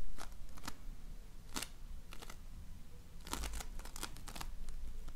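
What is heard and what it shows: A donut-shaped ring of floam, slime filled with polystyrene foam beads, is pressed and rubbed with fingertips and nails. Clusters of crisp, bright crackling and popping come through in short bursts over a steady low rumble.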